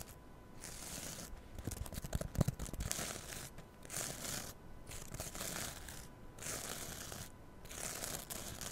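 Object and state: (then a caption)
Kitchen sponge with scouring pad. Long nails scratch the rough abrasive surface of a small green scouring-pad kitchen sponge held against a mini mic. Bursts of bright, raspy scraping alternate with brief quieter pauses, and a few sharp crackles stand out early on. A faint steady tone runs underneath throughout.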